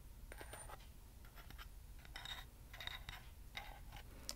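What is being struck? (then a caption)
Small hollow metal candle holder. Fingernails scratch and tap a small hollow metal acorn candle holder with a lattice pattern, held in both hands. Quiet, irregular bursts of bright, dry scraping mix with light metallic ticks, the sharpest at the very end, over a low steady hum.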